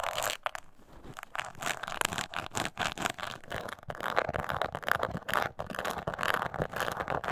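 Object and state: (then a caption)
Embossed leather coin purse being scratched. Long nails on both hands scratch the sides of a small, hollow, glossy brown crocodile-embossed leather mini coin purse resting on a table. The result is a steady, dense run of dry, crackly scratching in quick uneven bursts, bright and papery with little low end. A few brief pauses break it up.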